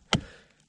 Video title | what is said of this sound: Cutting Firewood #firewood #cuttingfirewood #seasoningfirewood | if you tap on they sound sort of hollow almost it's not because they're dried out yet but it's because the parts coming loose